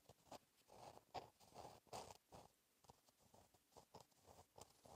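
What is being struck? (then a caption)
Gel pen on a paper notebook page. A gel pen tip scratches across a flat, black lined notebook page while writing cursive, giving soft, irregular scratchy strokes with bright high edges and a mid-range hiss around 770 Hz. Some strokes are louder and some fainter, with brief pauses between them.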